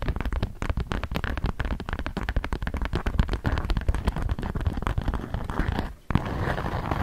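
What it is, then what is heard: Beeswax food wrap being scratched. Long nails scrape and scratch a thin polka-dot sheet of beeswax-coated cotton food wrap held taut. The result is a dense, rapid run of dry crackling scratches with a low, rumbling body. It breaks off briefly near the six-second mark, then resumes.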